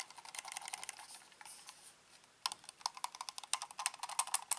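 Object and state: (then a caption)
Plastic computer mouse. A black hollow plastic gaming mouse is held in both hands, turned over and handled while its buttons and scroll wheel are clicked with the fingertips. Quick, irregular, dry plastic clicks with a bright edge mix with softer handling rattles, then fade into a brief quiet stretch. A denser run of sharper, louder clicks follows.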